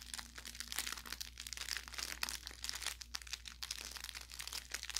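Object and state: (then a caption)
Plush toy with crinkle filling. An orange velour fabric carrot cat toy, about 25 cm and soft-stuffed with crinkle filling, is squeezed and pressed by fingertips and thumbs along its seams. Bright, dense crinkling and crackling pops fill the clip in rapid bursts over a faint steady low hum.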